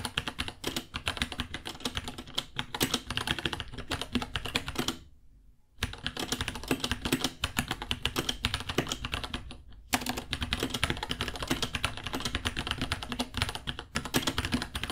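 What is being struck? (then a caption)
Plastic mechanical keyboard. Both hands type with their fingertips on a small white 66-key mechanical keyboard with Gateron Brown switches, white plastic keycaps, a hollow case and pink underglow, resting on a white desk. The result is a fast, steady stream of crisp, bright plastic key clacks with short dry thocks. There is a brief pause around five seconds and another just before ten seconds.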